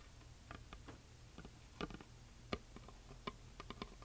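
Long fingernails of both hands tap and scratch the surface of a flat, solid, heart-shaped wooden plaque painted white with glitter lettering. About nine short, sharp, bright ticks stand out quietly over a steady low hum, each dying away almost instantly.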